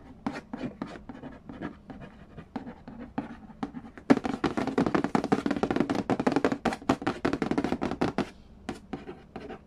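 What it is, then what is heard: Cardboard board game box. Fingertips trace and scratch across the glossy printed lid of a hollow cardboard Game of Life board game box and tap near its edge. Sparse, soft taps with a hollow low-mid body give way after about four seconds to a denser, louder run of quick taps and scratchy brushing strokes with bright papery edges. The sound then thins out again toward the end.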